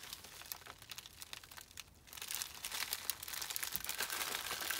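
Fingertips rub, press and crinkle the plastic film of a small white poly bubble mailer with a label, holding a small item. Bright, dense crinkling pauses briefly near the two-second mark, then returns louder and busier with sharp crackles until the end.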